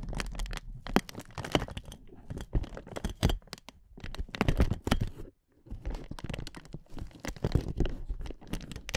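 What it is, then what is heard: Inflatable plastic air cushion. Hands with long nails grip the sides of a clear, hollow, air-filled inflatable plastic air-column cushion and squeeze it. Dense bursts of crinkling and crackling follow, with sharp, quickly fading snaps over a heavy low rumble and a brief silence just past the midpoint.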